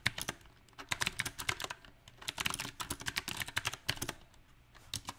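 Fingertips of both hands type unevenly on a small 68-key backlit mechanical keyboard with round typewriter-style plastic keycaps set on a silver metal plate. About 25 bright, sharp keystroke clicks come in irregular bursts with brief pauses, each dying away almost instantly.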